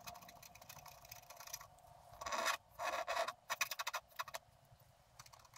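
A wooden stylus scratches along the trunk and roots drawn on a thin, flat sheet of black-coated scratch art paper. Faint, dry scratching gives way to louder, bright rasping strokes in the middle, then a quick run of short scrapes before it fades back to soft scratching.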